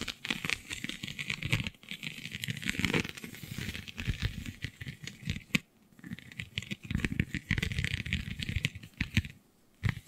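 Long nails scratch across the raised, scale-like bumps of a flexible, iridescent holographic vinyl sheet. The result is a dense run of quick, dry clicks and crinkly rasping, with a bright hiss over a low rustle. The scratching pauses briefly a few times before carrying on.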